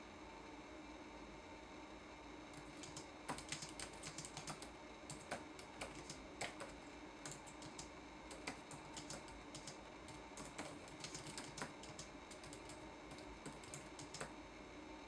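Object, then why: Plastic laptop keyboard keys. Fingertips type on a red-backlit laptop keyboard with plastic keycaps, producing quick, light clicking taps in irregular bursts. The sharp, bright key strikes sit over a steady low hum.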